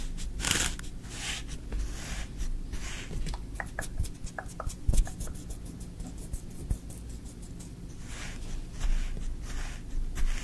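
A thin wooden stick is poked and scraped through green kinetic sand in a tray while the other hand rests on the sand. Soft, gritty scraping rasps and brief crisp ticks come in irregular bursts over a steady low hum. Several brighter hissing sweeps rise and fade between quieter, crumbly textures.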